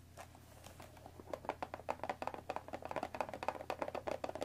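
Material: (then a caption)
Cardboard. Long fingernails tap and scratch quickly on the top and front face of a hollow cardboard Earl Grey tea box resting on a table. Soft scratching in the first second gives way to a rapid run of dry, hollow taps with a papery mid-range knock around 860 Hz. The taps stop short with almost no ring, over a faint low hum.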